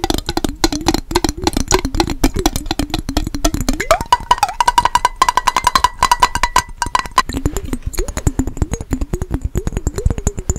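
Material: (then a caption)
Glass. Fingernails tap rapidly against the glass sides of a small clear glass mason jar with a yellow lid band, partly filled with water and held close. The dense, dry clicking runs continuously over a low, wavering resonance. Midway, a steady ringing tone near 1 kHz rises and holds for a few seconds before the lower, shifting resonance returns.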